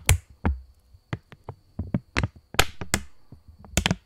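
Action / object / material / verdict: flick / polymer plastic banknote / polymer plastic / none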